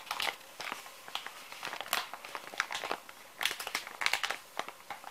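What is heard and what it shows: Fingers squeeze and crinkle a full, small, soft plastic-film pouch of kids' wet wipes. It makes a dense run of bright, dry crackles and crinkles with almost no low end, each burst dying away almost at once.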